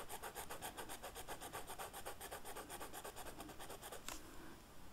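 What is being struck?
Felt-tip marker on a flocked velvet sheet.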